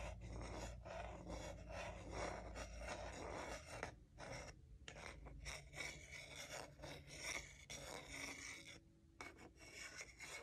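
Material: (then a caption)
Wood. A large solid wooden salad spoon, held in one hand, has its bowl rubbed and scraped with a matching wooden salad fork held in the other. The result is a dry, raspy scraping in quick, uneven back-and-forth strokes, with bright grainy texture. Short pauses break up the continuous rubbing.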